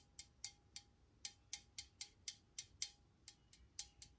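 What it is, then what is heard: Metal aerosol spray can. Long nails tap on the body of a blue Complete Home disinfecting spray can, a pressurized steel or aluminum aerosol can held in one hand. Fifteen quiet, bright, short metallic ticks sound in an uneven rhythm, each dying away almost at once with a light clinking ring. A faint steady tone runs underneath.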